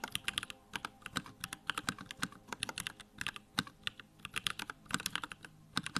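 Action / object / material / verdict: tap / plastic mechanical keyboard / plastic / none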